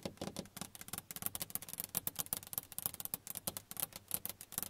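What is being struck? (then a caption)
Car side window, glass pane. Long nails on both hands tap the closed passenger side window of a car, a large flat glass pane. About twenty-one quick, sharp clicky taps follow one another in an uneven rhythm. Each has a bright, high tick and almost no ring.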